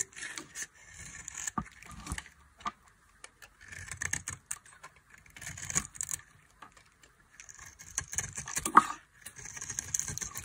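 A solid, dry orange bar of soap held in the palm is scraped and carved with a metal blade, and shavings fall away. Dense bursts of soft, crisp scraping and crackling come in clusters separated by short pauses, bright and airy with little low end.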